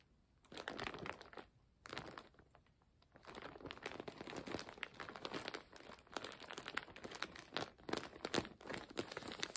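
A large, clear plastic zip-lock bag, full and stuffed with folded fabric scarves, is pressed and crinkled with fingertips and long nails as hands slide over it and squeeze it. Short bursts of bright, crackling crinkles are broken by brief quiet gaps early on, then become a steady, dense run of crinkling and rustling with very little low end.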